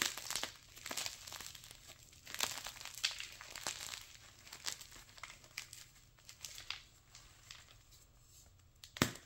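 Crumbs of white gym chalk (magnesium carbonate) are crushed between bare palms, then a flat, solid, dry, brittle white gym chalk slab is held and broken with the fingers. The result is a run of dry, bright crunching and crinkly crackles with little low end, ending in a sharp, louder snap.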